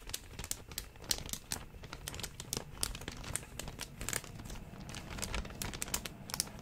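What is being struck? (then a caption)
Thin clear plastic zip-top bag. An empty, thin, clear plastic zip-top bag is held up and crinkled with the fingers for about seven seconds. It makes a steady stream of quick, sharp, bright crackles over a soft rustling bed, with no ring after each crinkle.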